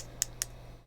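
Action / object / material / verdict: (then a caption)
tap / action camera case, plastic / hard plastic / none. Two sharp, bright taps on the hard plastic case of a Hero 8 action camera, each a short click that dies away almost instantly over a low steady hum. The hard plastic is tapped for contrast with a more rubberized surface.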